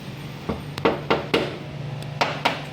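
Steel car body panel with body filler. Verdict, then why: Filled. A mechanic knocks seven times on a Toyota Hilux body panel that is filled with body filler (putty) under the paint, also checked with a digital paint thickness tester. Each knock is short and dull, with little ring. This marks the panel as repaired, sounding different from bare metal.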